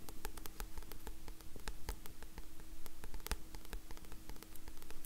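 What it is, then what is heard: Paperback book with card cover. Long nails scratch the card cover of a black paperback book as it is moved around the recorder, giving a dense run of quiet, dry scratches and sharp ticks over a faint steady low hum.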